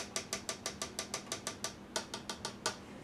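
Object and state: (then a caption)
High-pitched polycarbonate juicer feed chute. The polycarbonate plastic feed chute of an Argus 3-inch wide-mouth slow juicer is tapped 15 times in quick succession, giving short, bright, high-pitched clicks with almost no ring. Its tone is noticeably higher than the Kuvings chute's, and the chute flexes more easily than the Kuvings piece.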